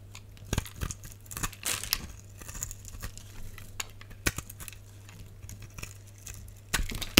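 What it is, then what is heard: Soap bar being scored and cut. A box-cutter blade scores a solid, palm-sized green translucent soap bar held in the hand, then scrapes off small cubes. Short, bright crackling and crunchy scraping bursts come in uneven bursts over a steady low hum, with the sharpest snaps near the start and end.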